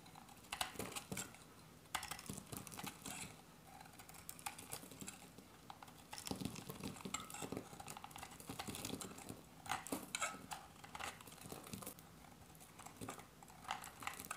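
A solid, hand-sized, olive-green oval bar of dry soap is held in the hand and shaved with a metal box-cutter blade. Crisp, dry scraping cuts come in quick, dense bursts with bright, papery crackle and very little ring. The level stays low throughout, with a few louder strokes standing out.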